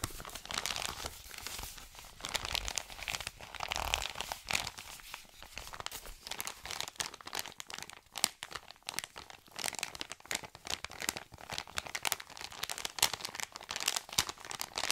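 An Amazon kraft-paper padded mailer is gripped and squeezed at its folded edge and crinkled with fingertips and short nails. The result is a steady run of dense, bright crinkling and crackling, full of quick dry snaps that stop dead without ringing.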